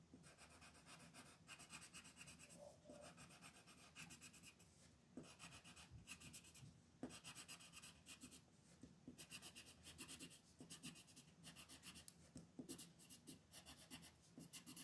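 A green wooden colored pencil, held at the fingertips, scratches and rubs across a thin printed mandala coloring sheet lying on a wooden table. The strokes make a soft, bright, papery rasp in repeated bursts with short pauses between them.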